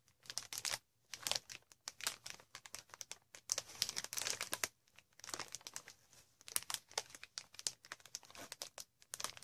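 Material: Plastic.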